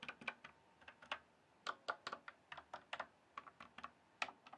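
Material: Plastic.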